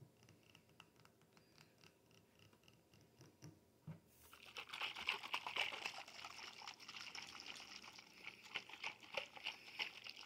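A glass bottle is tapped and shaken, producing quiet, bright clicks and taps. After about four seconds the sound turns into a dense, crinkly rattle with short glassy rings around 2.8 kHz. The sound is almost entirely high-pitched, with little low end.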